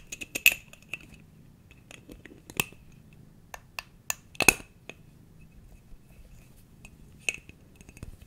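A small, clear, empty glass jar with its lid off is held in one hand and tapped close by with the fingertips of the other. Irregular light taps each give a short, bright glassy clink with a ring near 2.6 kHz that dies away almost instantly. The taps vary in strength over a quiet background.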